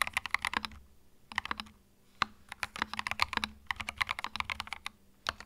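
Fingertips type on a small white 65% mechanical keyboard with plastic keycaps and a hollow plastic case, resting on a felt mat. Quick bursts of sharp, bright clacks come in runs separated by short pauses, each keystroke clicking off almost instantly. Roughly thirty keystrokes are heard over the clip.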